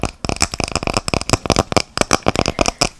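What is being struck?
Wooden log slice coaster, natural wood with bark edge.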